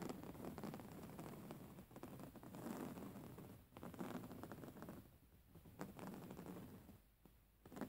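Long nails of both hands scratch the coarse textile of a soft, filled grey woven-fabric pillow. The result is a quiet, dense run of rapid scratchy rasps, rough and low-mid in tone with little brightness, swelling and easing in waves with a few short pauses.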